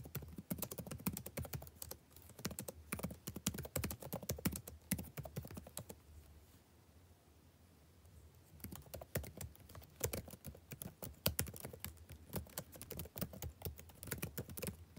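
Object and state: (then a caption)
Plastic laptop keyboard. Fingertips with short nails type on the plastic chiclet keys of a backlit laptop keyboard, producing rapid, dry clicks and taps over a low steady hum. The typing pauses into near-silence for about two seconds midway, then resumes at the same brisk pace.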